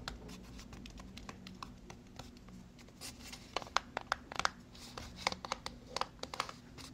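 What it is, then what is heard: Cardboard box tapped and scratched with fingernails. Long fingernails scratch and tap a small white cardboard product box. Soft, papery scratching fills the first few seconds, then sharp, crisp taps with almost no ring come through more loudly in the second half. A faint low hum sits underneath throughout.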